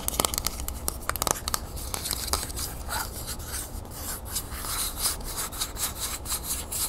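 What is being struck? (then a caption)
Metal aerosol spray can. Long nails rub and scratch along the side of a medium, hollow, copper-colored Vaseline metal aerosol spray can held sideways over a wooden table. A few sharp taps come first, followed by a steady, bright, raspy scraping with a short, dry ring.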